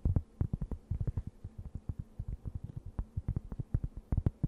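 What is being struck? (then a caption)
Thin round cork board. A thin, solid, round cork board about the size of a plate is held close to the mic and scratched and tapped with long nails. A rapid, uneven series of short, dull thuds with very little ring sits deep in the low range, with faint scratchy texture between taps.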